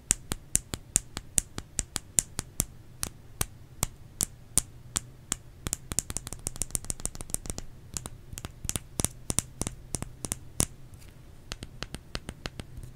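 Fingers tap on a solid bar of soap in a long, uneven run of short, dry taps. Each tap is a crisp, high click that stops instantly, over a steady low hum.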